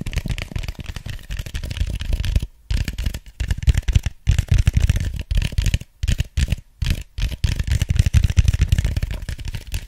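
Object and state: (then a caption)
Empty styrofoam cup. Fingertips scratch and tap the sides of an empty, hollow white styrofoam cup. The result is a dense run of quick, dry, low thumping scrapes with a few brief pauses between bursts.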